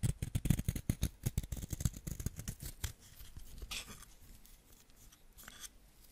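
A small, solid yellow wax crayon held in the fingertips is scraped with a white ceramic knife, so yellow wax crumbs fall onto the fingers. Quick, dry scraping strokes with a low thump come rapidly for about three seconds, then thin out into softer, scattered scratches with occasional bright hiss.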